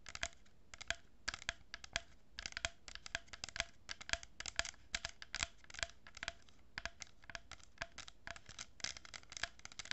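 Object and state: Cardboard tube with plastic beads, scratched and tapped.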